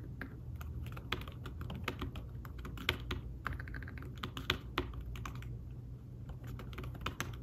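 Fingertips tap quickly on the keys of a thin fabric-covered tablet keyboard case, producing a steady stream of soft, short clicks with no ring. Some taps land harder and brighter than others. A constant low hum sits underneath the typing.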